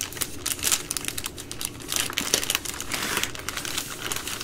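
Long nails scratch and tap at the edge of the plastic overwrap on a full three-pack of baby wipes. The result is a steady stream of bright, crisp crinkles and quick ticking taps, with very little low end. The sounds stop short with almost no ring.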